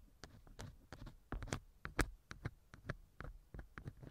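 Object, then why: Silicone ear model of a binaural microphone, wooden earpick. A thin wooden earpick scratches inside the left ear canal of a small hollow silicone ear model mounted on a binaural microphone. The result is a quiet, close, irregular run of short scraping and rustling scratches, each with a muffled low thump and a brief bright crackle.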